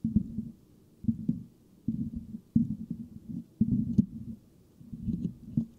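Fingertips scratch rapidly on both sides of a hollow, silver metal mesh microphone grille. The result is dense, low, muffled rasping that rumbles and thumps around 200 Hz, with almost no high end. The scratching comes in short bursts separated by brief quiet pauses.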